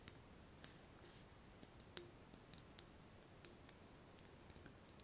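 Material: Glass.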